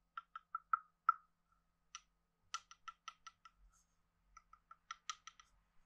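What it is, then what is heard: Wooden frog guiro. A hand-sized, hollow, carved wooden frog guiro with a ridged back is held in one hand and scraped and tapped along its ridges with a wooden stick. It gives short, dry, hollow clicks with a woody tone around 1.3 kHz and little ring. The clicks come in irregular bursts and quick runs with brief pauses between them.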